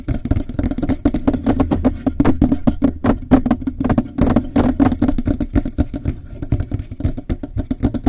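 Fingertips and nails rapidly tap and scratch the lower part of a Blue Yeti microphone's hollow metal body, held in both hands under its foam cover. A dense, steady stream of short, dull knocks with a low, boomy body and a hollow resonant tone fades almost instantly after each tap. Faint high scratchy ticks run through it over the full eight seconds.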